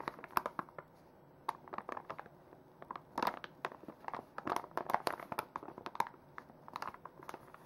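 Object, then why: Plastic wipes pouch. A full plastic makeup wipes pouch is held in the hands and squeezed and crinkled with fingers and nails. Sharp, dry crinkles, crackles and tapping clicks come in irregular bursts and clusters, with a midrange body and bright edges that stop dead between short, quiet pauses.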